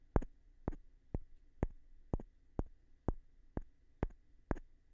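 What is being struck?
Wooden block tapped with a small stone.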